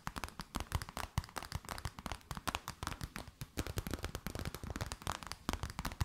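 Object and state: Clear plastic bag, crinkled and tapped.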